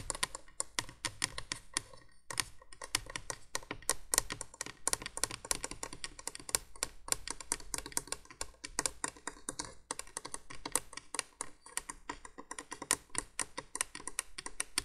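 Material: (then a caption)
Plastic. Long nails rapidly tap and scratch the hollow yellow plastic base of a vintage 1980s window candolier. The result is a dense, steady stream of quick, bright, dry clicks and scrapes, with a faint low hum beneath and a brief pause near the two-second mark.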